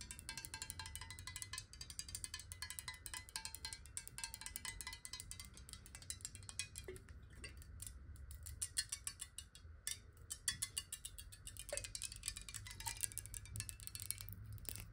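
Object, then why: Glass bottle with water. Long nails tap quickly on a clear square glass water bottle holding water, with a black cap, held sideways. The result is a dense, steady stream of bright, crisp clicks and light glassy clinks that die away almost instantly, over a soft low rumble.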